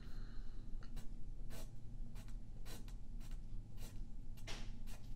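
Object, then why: Graphite pencil on paper sheet. A yellow graphite pencil scratches drawing lines across a thin sheet of white paper lying flat on a wooden table, held in place by the left hand. Short, bright, papery strokes repeat over a steady low rumble.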